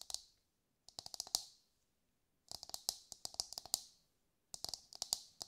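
A brown, husked whole coconut with a hard fibrous shell, held in both hands, is tapped with long light-grey nails. About 23 crisp, bright clicks come in quick bursts separated by short silences, with no low end. Each tap dies away almost instantly.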